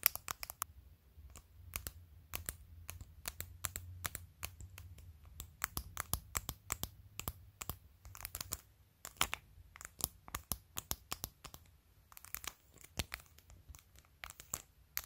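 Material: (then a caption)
Plastic. Long decorated nails tap and scratch a clear plastic phone case covered in glued-on pastel acrylic press-on nails, working over the case and the nail decorations around the camera. It makes a steady stream of sharp, bright clicks and dry scratches that stop instantly, over a faint low hum.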